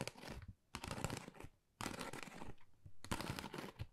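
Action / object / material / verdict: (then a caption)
scrape / textured cardboard folder / cardboard / none. Long nails tap and scratch across a flat, pale pink, pebble-textured cardboard Dior folder, thin and hollow. The result is four bursts of dry, crinkly scratching and quick taps, with brief quiet gaps between them.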